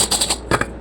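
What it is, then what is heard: Crisp, dry fried chicken strips. A fried breaded chicken strip is broken apart, giving a series of sharp, dry crackling crunches with bright, crisp snaps. The loud crunch shows the strip is dry and crispy, not soft.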